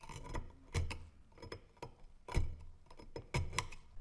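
A gloved hand scrapes rust off the blade and handle of a corroded, rust-covered antique brass-alloy dagger, solid and about hand length, lying on a wooden slice, using a thin pointed metal pick. Irregular, short scratching and scraping strokes are heard, with sharp bursts between quieter rasping, each stopping dead without ring.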